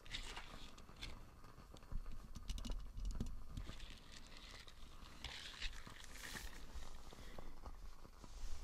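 A small light-blue silicone dish scrubber with nubby bristles is held close to the mic while fingernails scratch and flick its bristles. The result is a soft, crackly patter of quick, short taps and scratches over a low rumble, with brighter crisp bursts scattered throughout.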